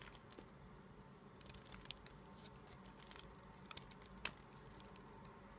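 A small, solid cream-white bar of soap held in the fingers is shaved with a red-handled utility-knife blade, scraping and cutting curls and flakes off the bar. The result is a quiet, steady, crackly scraping with soft patter and several short, bright clicks, the sharpest one near the end.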